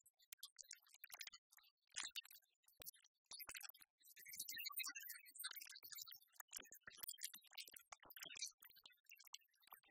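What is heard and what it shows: A flat hand presses down on a layer of loose, whole, dark roasted coffee beans on a white plastic tray, then the fingertips dig in and rake through them. The result is a scratchy, rustling rattle of many quick, bright clicks in dense, uneven bursts, with almost no low end.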